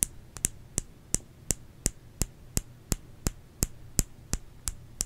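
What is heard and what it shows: Fingers tap a solid bar of soap in a steady rhythm, making 16 short, dry, bright taps that stop almost instantly. The taps land about every third of a second, with two close together near the start, over a faint low background rumble.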